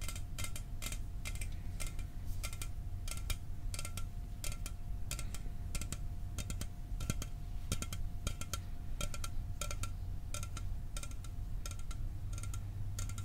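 An aluminum soda can is tapped for ASMR metal sounds, producing a steady run of quick, bright metallic taps that ring only briefly. A faint constant tone and a low hum sit underneath the tapping throughout.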